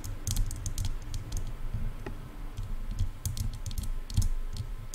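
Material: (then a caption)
Plastic. Long painted nails of both hands rapidly tap the large, silver, hollow plastic ear cups of over-ear headphones resting on a mic. The result is a steady stream of quick, dull, hollow low thuds, each topped with a faint, sharp click and dying away almost at once.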